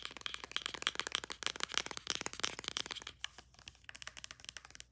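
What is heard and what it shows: Long nails rapidly tap and scratch the body of a white plastic Olaplex No.9 pump bottle, about 90 ml, held upright and then tilted. The result is a fast, dense run of short, dry, bright clicks with a hard plastic edge around 3.2 kHz and almost no low end. The taps thin out and soften toward the end.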